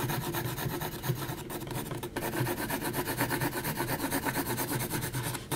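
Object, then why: Graphite pencil on heavy textured paper sheet. A graphite pencil makes vigorous shading strokes across a flat sheet of heavy, textured mixed media paper, giving a continuous rasping scratch. The strokes swell and fade in a quick, fairly steady back-and-forth rhythm, with a low, full body under the grainy rasp.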